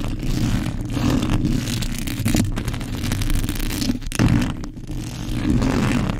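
Long pointed acrylic nails and fingertips of both hands rapidly scratch and rub the black metal mesh grille of a large desk condenser microphone, a hollow head with no foam cover, right against the capsule. The result is a dense, continuous stream of boomy, low-heavy rubbing and scraping with faint bright scratchy edges, briefly dipping before a louder burst just past four seconds.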